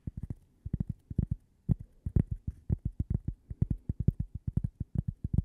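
A thin, flat, toast-shaped cork coaster with a logo is tapped and scratched with long painted fingernails close to the microphone. The result is a quick run of soft, dull, low thuds in irregular bursts with almost no ring, each carrying a faint bright tick.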